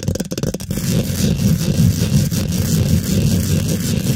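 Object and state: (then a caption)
Metal mesh microphone grille being scratched and tapped. Long pointed pink acrylic nails scratch and tap rapidly over a hollow steel mesh microphone grille. A few sharp, quick taps open the clip, then they blur into a dense, continuous scratching rumble. It is heavy in the low end, with faint bright crackle above.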